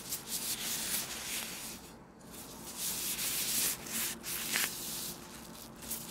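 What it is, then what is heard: Oiled plastic gloves rubbed together. Thin, clear plastic disposable gloves coated with oil are worn on both hands, which rub and squeeze together in front of a small black microphone. The result is a continuous, slick, bright rubbing and squelching, with a brief quiet lull partway through and a few louder swells.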